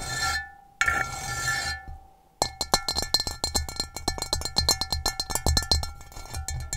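Long nails scratch and then tap across the base of an upside-down, hollow, rough-textured gray ceramic bowl. Two bright scratching bursts with a faint ringing tone give way to a rapid, uneven run of sharp clicking taps. Each tap has a short, high ring that fades almost instantly.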